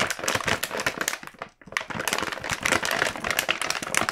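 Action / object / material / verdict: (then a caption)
shake / plastic-film snack bag / plastic film / none. A full red plastic-film KitKat snack bag is held in both hands, shaken and turned. It gives dense, bright crinkling and crackling with little low end. The crinkling runs almost continuously apart from a brief silent gap around the middle.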